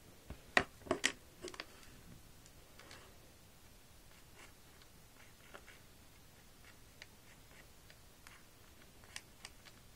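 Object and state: Plastic magnetic drawing board.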